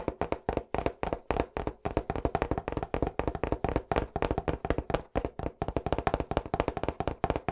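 An Angelo's cardboard pizza box, held on its edge beside the mic, is tapped fast with the fingertips. Dozens of quick, dull, hollow knocks follow one another in an uneven, rapid rhythm. Each tap is short and dry with a mid-pitched, papery body and almost no bright top.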